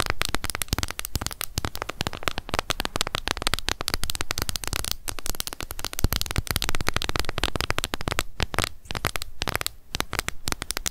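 Long nails tap rapidly on the lid of a small, hollow, closed pink plastic cushion foundation compact. The result is a dense, continuous stream of crisp, hollow clicks that crackle with bright high edges over a thumpy low body, holding a steady pace for about eleven seconds.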